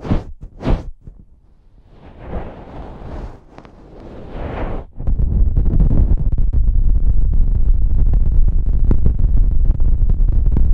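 Fingers grip, rub and squeeze the slim, hollow cylindrical bodies of two matching silver metal pencil condenser microphones on stands, near the top, producing deep handling rumble. A few short soft bursts and a stretch of hissy brushing noise lead into a steady, dense low rumble from about five seconds on, dotted with small, irregular knocks.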